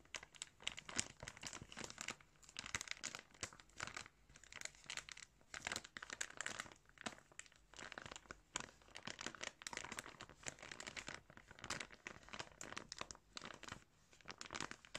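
A hand crumples and crinkles a clear plastic bag full of pink and yellow yarn held up close. The result is a quiet, steady stream of bright, crisp crinkling and crackling in dense bursts, with almost no low end and no ringing between sounds.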